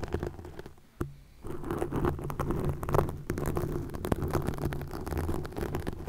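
Long nails scratch a green plastic mesh net stretched over a microphone, making a dense, continuous crackling scratch over a low, rumbling body. A sharp click at about one second is followed by a brief quieter pause before the scratching resumes steadily to the end.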